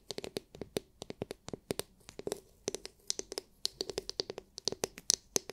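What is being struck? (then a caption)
Hard plastic glitter-filled massage brush. Long nails tap a palm-sized oval massage brush with a hard, clear plastic dome filled with glitter. About 27 quick, crisp clicks come in an uneven run, each bright and dry, dying away almost instantly with little low end.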